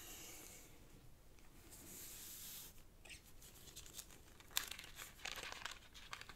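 Fingertips slide along a thin, folded sheet of purple origami paper resting on a black cloth table, rubbing its creases. A soft, airy rustle with bright hiss runs for the first few seconds. It then gives way to quieter crinkling, broken by sharp, crisp paper snaps and ticks.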